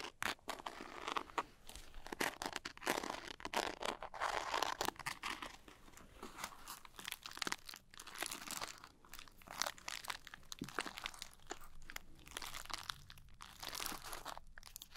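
A small glitter-coated zippered cosmetic pouch is cupped in both hands while long nails tap and scratch across its glitter surface. The result is a dense, crinkly scratching with rapid, dry, bright clicks and almost no ring or low rumble.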